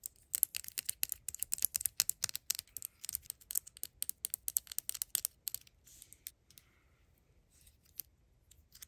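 A small hollow plastic Hellmann's mayonnaise jar replica with a blue lid is held in the hand and tapped with long acrylic nails. The result is a rapid run of light, bright clicking taps, with a busy stretch at first that thins out to sparse taps toward the end.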